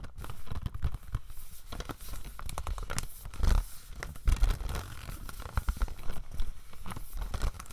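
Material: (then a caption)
Plastic. A hollow plastic DVD case for Slumdog Millionaire is held in the hand while fingernails tap and scratch its back and spine. Quick, dry taps and scratchy crinkling scrapes run throughout, with a few louder knocks and almost no ring after each.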